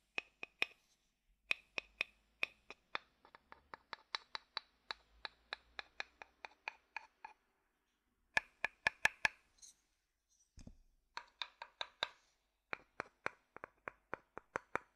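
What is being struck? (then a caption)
Wooden bowl. A dark-brown hollow wooden bowl held upside down has its outer bottom tapped and knocked with a wooden stick. About 43 short, dry, hollow knocks come at an uneven pace, each with a clear tone around 1.7 kHz and bright clicky edges that die away almost at once. A brief pause with a soft scrape comes near the ten-second mark, then the tapping resumes.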